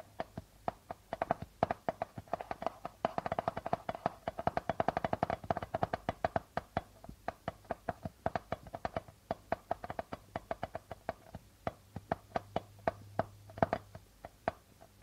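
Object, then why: Darbuka drum with plastic membrane. Fingernails tap quickly and scratch on the plastic membrane of a hollow darbuka drum. The result is a fast, steady stream of short, dry clicks with a hollow tone around 670 Hz that dies away almost instantly. The taps grow denser and busier in the middle before thinning into more spaced strikes, over a faint low hum.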